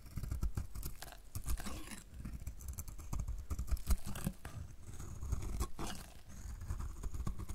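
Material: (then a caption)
Soap. A hand-sized solid bar of dried soap, painted green and held in one hand, is shaved with a snap-off utility knife blade that scrapes and cuts crumbly flakes off its surface. Close, dry crackling scrapes and crisp cutting ticks come in rapid, uneven bursts with a soft low rumble underneath, each crack stopping almost instantly.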